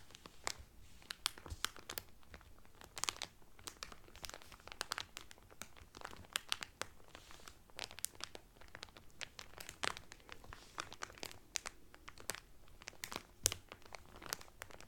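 Fingertips and nails press and crinkle the cellophane wrap around a Carnival Cruise cotton towel. The result is a quiet, continuous run of sharp, bright crackles and crinkles with very short decay, over a faint low rumble.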